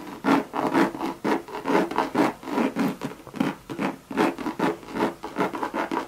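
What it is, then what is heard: Coated canvas and leather handbag. Long, sharp red nails rub and scratch across a Louis Vuitton Monogram coated canvas bucket bag with leather trim. Rapid, uneven dry scratching strokes, a bit over two per second, each with a soft midrange body and a bright raspy edge that cuts off quickly.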